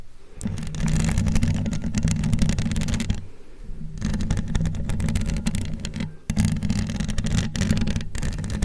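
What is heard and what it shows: Long glittery acrylic nails on both hands scratch and tap across the hollow metal mesh grille of a large condenser microphone. The result is a dense, continuous scratching texture over a heavy low rumble, with brief quieter dips around 3 and 6 seconds before it picks back up.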